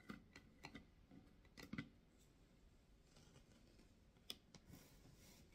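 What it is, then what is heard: Wooden box tapped and scratched with nails. Long nails tap and scratch the lid of a medium, hollow, carved wooden box, giving quiet, sharp, dry clicks with a low, hollow body and almost no ring. The box is then lifted and held upright while the nails scratch its carved lid, producing a soft, bright scraping rasp broken by an occasional sharper tick.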